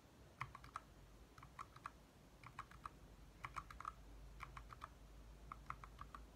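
A compact 60% backlit mechanical keyboard with lit plastic keycaps is typed on quickly with the fingertips of both hands. Clusters of sharp, short clicky taps come in bursts over a low steady hum.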